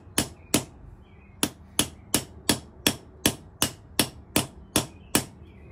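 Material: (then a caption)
Steel, brass. A steel ball-peen hammer strikes the brass top fitting of a thin, black, hollow steel push rod, which has brass end fittings and stands on a concrete floor steadied by one hand, to press the fitting in. Thirteen sharp, bright metallic knocks come at a steady, fairly quick pace, with a longer pause after the second. Each knock dies away almost at once.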